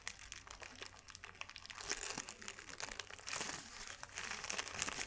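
A small ball of thin white paper is crushed and crumpled between the fingers, giving a dense run of bright, dry crinkles and crackles. The crackling swells louder in bursts toward the middle and end, with almost no low-end body and each crackle cutting off instantly.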